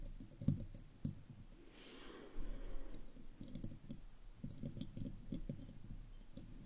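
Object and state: Metal microphone grille, tapped and scratched.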